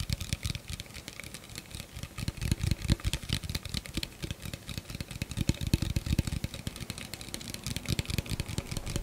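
An empty, hollow clear plastic blender cup with a threaded rim is held in the hands and tapped rapidly with the fingertips and nails. The result is a dense, continuous stream of quick, dry taps, with dull low thumps from the fingertips mixed with bright clicks from the nails, each one dying away almost instantly.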